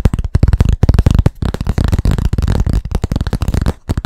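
Fast tapping on a blackboard: a rapid, uneven run of short, dull, low thuds with almost no ring. The taps blur together in quick bursts, with a few brief pauses.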